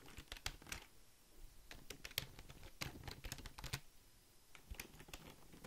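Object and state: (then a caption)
Plastic computer keyboard being typed on. Fingertips and nails type rapidly on the keys of a full-size black Logitech plastic keyboard that is being held up. The result is a quick run of sharp, bright plastic clicks and taps. Each one is very short, and there is a softer low thud underneath.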